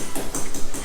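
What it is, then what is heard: Solidly bonded floor tile. Freshly laid ceramic floor tiles are tapped into the adhesive spread over scored hard pack, to level them and check the bond. The taps are short, dull, low thuds with almost no ring and no hollow sound, showing the tiles are solidly bonded with a good fix.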